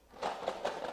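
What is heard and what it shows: A cardboard cereal box filled with crayons instead of cereal is shaken, giving three quick rattling bursts centred in the midrange around 500–700 Hz. The contents clatter dryly with almost no low end and barely any ring. It does not sound like cereal.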